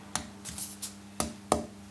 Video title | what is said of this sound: Wood Selection for a Guitar. With Guitar Maker Pablo Requena. | आप इसे टैप करते हैं, आपको वह जगह ढूंढनी होगी जहां इसे पकड़ना है और यह आपको बहुत कुछ नहीं देगा क्योंकि यह काफी मोटा है